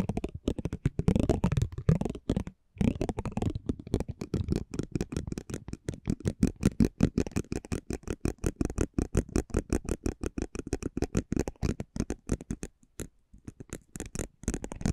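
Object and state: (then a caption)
Cardboard trading card. A metal spiked pinwheel is rolled across a small, thin cardboard basketball trading card held in the hand. It makes a rapid, uneven stream of dry ticks and crackles with a low, papery body, with brief pauses near 2.6 and 12.8 seconds.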